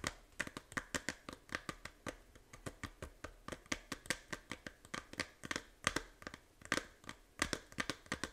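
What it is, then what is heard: Plastic game case tapped and scratched. Long nails tap and scratch the front cover of a small, hollow plastic 3DS game case in a quick, uneven rhythm. Around forty crisp, dry clicks ring bright and hollow and stop almost at once, with faint scratchy rustling between them.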